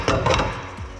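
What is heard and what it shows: A rusty steel chassis part near a van's wheel arch is tapped three times during a teardown. The taps give solid, ringing knocks with a mid-pitched tone that fade over about half a second. The part does not sound hollow and is in good condition, needing only surface rust treatment.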